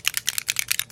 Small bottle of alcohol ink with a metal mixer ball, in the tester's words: shake it until you hear that little mixer ball moving really well if it sounds like it's getting stuck you need to keep mixing